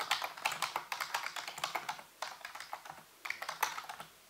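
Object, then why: Plastic computer keyboard. Fingertips and nails type and tap on the keys of a full-size black plastic computer keyboard with a hollow housing. Quick, bright clicks come in three bursts separated by short pauses, each click dying away almost at once.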